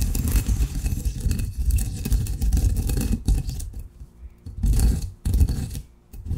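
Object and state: Coffee beans ground in a granite mortar.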